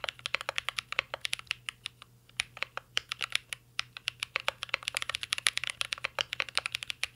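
Fingertips type continuously on a mint-green Cyberboard R3 mechanical keyboard with plastic keycaps and a metal case. Rapid, crisp, bright clacks follow one another with only a brief pause near the two-second mark. Each keystroke dies away almost instantly.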